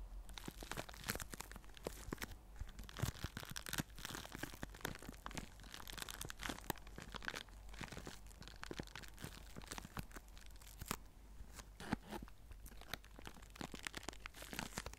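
A small clear plastic zip-lock bag with white paper inside is crumpled and crinkled between fingers and nails. Dense, continuous crackling and crinkling snaps fill the clip, bright and crisp, with a steady low rumble underneath and no voice.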